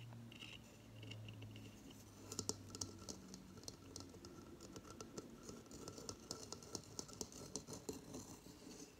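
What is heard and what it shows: Long fingernails scratch the fibrous surface of a hollow coconut-shell hamster hideout, which has an opening and paper bedding inside and sits on a coconut-shell stand on a table. A soft, dry, bright scratching runs throughout, with a low hum early on and a series of sharp, quick clicks that die away almost instantly.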